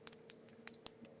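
Acrylic nails are tapped several times, giving short, dry, high-pitched clicks with almost no ring. The hard clicking shows the acrylic nails are dry and ready to be filed.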